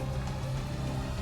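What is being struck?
Nothing is struck.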